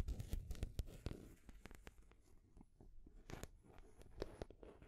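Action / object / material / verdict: tap / painted wooden stacking rings and ball / wood / none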